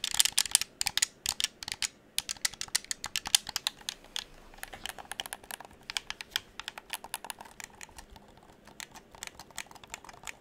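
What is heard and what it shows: A hollow dark blue plastic gamepad is held in both hands while fingertips rapidly click its buttons and tap its shell. The result is a dense, irregular stream of sharp, bright plastic clicks and taps with almost no low end and no ring, in bursts that thin out slightly toward the end.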